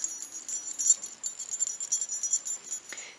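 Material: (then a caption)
Metal. A small metal bell sewn onto the glove of a crocheted amigurumi elf is shaken. It rings with a bright, high jingle of many quick tinkling strikes. The sound is a clear jingle-bell ring.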